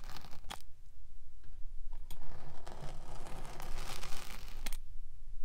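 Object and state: Kinetic sand scraped and pricked.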